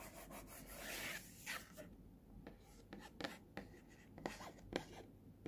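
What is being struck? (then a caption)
Small printed cardboard earphone box. Fingertips rub and scratch the front of a small, hollow, printed cardboard earphone box, and a finger scratches near its price sticker while a flat hand rests on it. A steady, bright rubbing hiss is followed by a series of short, dry scratches that stand out from a quiet background.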